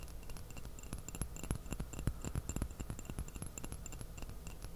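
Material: Porcelain.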